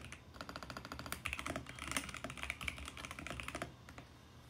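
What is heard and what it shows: Fingertips type steadily on the plastic keycaps of a VGN X68 compact mechanical keyboard, making a quick run of sharp, bright clacks with a lower thock under each press. Each stroke stops almost at once, and the typing grows busier in the middle before thinning out toward the end.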